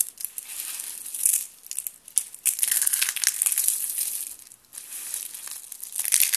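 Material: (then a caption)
Soap. Hands squeeze, crumple and crush a heap of thin, brittle blue and pink dry soap flakes and ribbons on a paper surface. The sound is a dense, bright, dry crackle and crunch with almost no low end, rising and falling in irregular bursts with brief quiet gaps.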